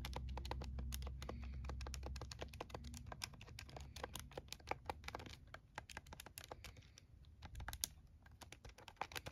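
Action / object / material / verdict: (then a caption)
tap / plastic scientific calculator keys / plastic / none. Fingertips rapidly press and tap the plastic keys of a plastic scientific calculator held in both hands. Dozens of quick, dry, bright clicks run in an uneven stream with almost no ring. A low hum sits underneath for the first two seconds.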